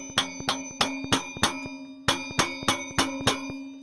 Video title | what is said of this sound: Another melty motor! let's take a look. | can hear the noises change now